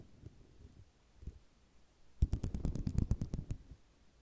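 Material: Ceramic.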